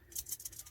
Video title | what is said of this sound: What Takara Tomy & Beytubers Are not Telling Us About The Limit Break Beyblades Finally Revealed!!! | that means that there are loose parts there are hollow parts there are many moving non-fixed parts